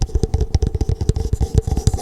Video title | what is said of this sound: ASMR * Theme: Star Wars * Soft Spoken * Tapping & Scratching * Fast Tapping * ASMRVilla | It has a great echo sound